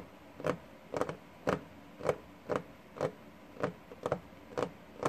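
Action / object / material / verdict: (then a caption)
tap / wooden desktop / wood / none. Fingertips and short nails of both hands tap a flat, solid wooden desktop with a worn, paint-speckled surface. Eleven short, dull, mid-pitched taps land at an uneven pace, each dying away almost instantly over a faint steady hiss.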